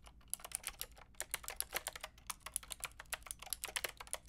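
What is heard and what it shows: Fingertips with long painted nails type on a white-pink backlit plastic mechanical keyboard with round plastic keycaps. A fast, steady run of sharp, bright clicks and clacks with no ringing tail, each keystroke clearly separated, quiet overall.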